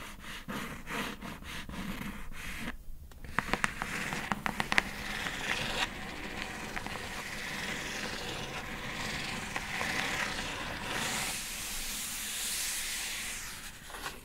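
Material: Cardboard.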